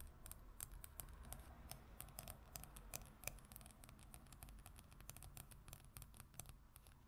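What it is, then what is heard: Glossy paper magazine cover. Long acrylic nails scratch and tap, with both hands, on the glossy printed paper cover of a travel magazine lying flat. The sound is a quiet, dense stream of sharp, bright clicks and scratchy rasps over a low rumble. The taps are very short with no ring.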